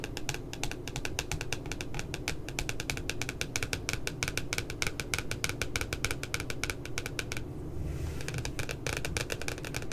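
Long glitter nails tap rapidly and continuously on the printed puppy photo of a spiral notebook's glossy paper cover lying flat, making sharp, bright clicks over a steady low rumble. The tapping pauses briefly near the end, then resumes at the same quick pace.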